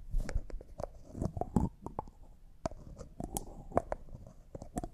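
A small, thick-walled, clear hollow jar that looks like glass and appears empty, with a white plastic screw lid, is held in both hands while fingertips and manicured nails twist the lid and tap and scratch the lid and jar. The result is a quiet, close series of short, dry clicks and ticks with soft scratchy rustles between them, mostly low in tone and ending quickly with no ring.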